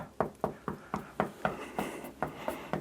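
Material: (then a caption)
Masonry. Ten knocks on a solid masonry wall, each a short, dull thud that dies away almost at once with no hollow ring. It contrasts with the hollow sound of a plasterboard wall.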